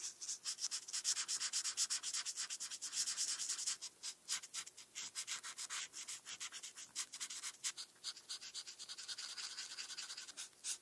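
A felt-tip marker is rubbed in small strokes across a flat paper coloring page while coloring small dots. It makes quick, quiet, bright scratchy rubbing strokes in an uneven rhythm, with almost no low end.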